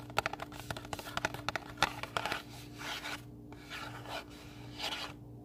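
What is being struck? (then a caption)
Paper-covered booklet, thin card cover. Fingernails scratch and rub the thin card cover of a small pink paper-covered recipe booklet held in both hands. A quick run of sharp, dry scratching ticks gives way to slower, softer rasping rubs with a bright papery hiss, over a faint steady low hum.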